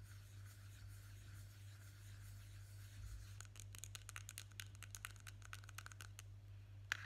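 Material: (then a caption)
Plastic. Fingertips and short nails rub and scratch the top and side of the lid on a small, hollow blue plastic Nivea cream jar. Soft, faint rubbing over a steady low hum gives way after about three seconds to quick, bright, dry scratches and ticks. The scratches come in an uneven flurry, with a sharper click near the end.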